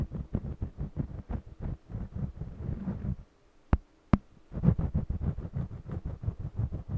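A yellow jumbo wax crayon held in the fingers colors a small stretched cotton canvas panel with quick, scratchy strokes, giving a steady, low, thumping rhythm. Midway the strokes stop for about a second, broken by two sharp, bright clicks. Then the rhythmic scratching resumes.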